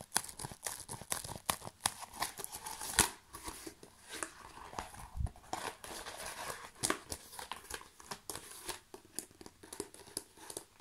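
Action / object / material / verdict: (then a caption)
scrape / plastic bubble wrap sheet / plastic / none. A large sheet of clear plastic bubble wrap, rolled into a tube, is held and squeezed by fingertips. It gives a steady run of dry crinkling with sharp, bright crackles and quick pops, peaking in a louder burst around three seconds. Each snap dies away almost at once.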